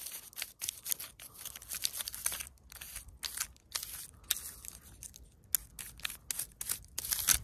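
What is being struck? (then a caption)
Stone boulder with dry moss and lichen. Long pointed nails scratch and tap a large solid rock partly covered with dry moss and lichen. Quick bursts of dry, crackly, high-pitched rasping come in a steady, uneven rhythm, with almost no low end and no ring after each stroke.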